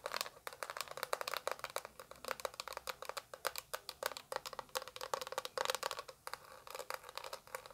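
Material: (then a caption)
Plastic. Long acrylic nails tap rapidly on the front and back of a small, translucent orange plastic eyeshadow palette with a hollow case. The result is dozens of sharp, dry clicks with a hollow tone near 570 Hz and bright, high edges, each dying away almost instantly.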